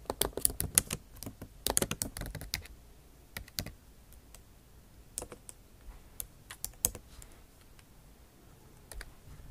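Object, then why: Laptop keyboard, plastic keys. Typing taps with the tips of long acrylic nails on a MacBook Pro backlit keyboard with bare plastic keys in an aluminum body. Quick, bright clicks come in a dense burst at the start, then thin out into scattered taps separated by quiet pauses.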